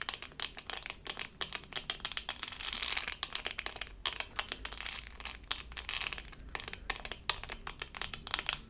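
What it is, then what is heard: Resin rhinestone sticker. A small, flat, doll-shaped diamond-painting sticker covered in resin rhinestones on a thin, solid plastic backing is held in both hands and scratched with long acrylic nails. The result is a dense stream of bright, crisp scratching and crinkly clicking with very short, dry attacks and almost no low end.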